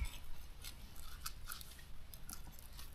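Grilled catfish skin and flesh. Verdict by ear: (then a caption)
Crispy. Grilled catfish is pulled apart by hand to remove the bones, its crispy flesh and skin giving off a series of small crackling crunches over a low background rumble. The fish is crisp.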